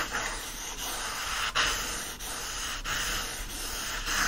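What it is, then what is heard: Paperback book pages being scratched. Fingertips and nails rub and scratch across the printed paper pages of an open yellow-covered paperback lying on a fleece blanket. The result is a steady, dry, papery rasp with a bright hiss, rising and falling slightly with each stroke.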